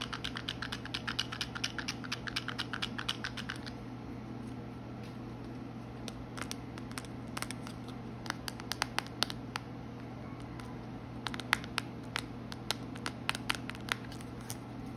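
Long acrylic nails tap and scratch the front face of a small, hollow red printed cardboard box holding a roll of washi tape, held in both hands. Quick clusters of sharp, dry clicks come in bursts separated by short pauses, with softer scratching between them. A steady low hum runs underneath throughout.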